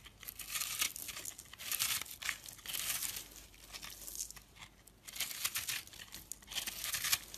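A hand with painted nails holds a hand-sized, dried, solid yellow-orange soap bar with a dry, porous, crumbly surface while a dark utility knife blade scrapes and cuts through it. The result is a run of dry, bright crackling and crumbling scrapes in uneven bursts, with almost no low end.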